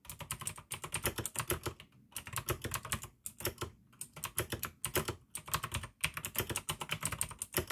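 Fingertips type fast on the keycaps of a full-size pink plastic AUKEY mechanical gaming keyboard with RGB backlight, clicky blue switches and a hollow case. Rapid bursts of sharp, bright clicks over a hollow low thump come in quick runs separated by brief pauses.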